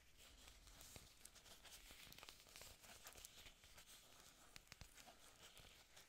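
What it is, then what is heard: Artificial plastic leaves being scratched. Long nails scratch and rub along a bunch of glossy, green artificial orchid leaves, thin and solid and plastic or silicone, held in both hands. The result is a quiet, continuous bright crinkling and scraping hiss, broken by sharp little ticks and rustles.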